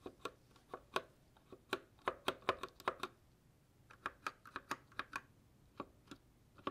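Gloved fingertips type on a white 60% GK61 mechanical keyboard with plastic keycaps and case and silver switches, resting as a solid unit on a table. About twenty short, crisp plastic key clacks are heard, bright with a midrange tone and almost no low end. They come in an irregular rhythm with a brief pause midway.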